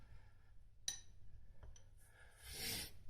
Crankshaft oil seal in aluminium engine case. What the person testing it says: Once you start hearing the metal sound, you know the seal's in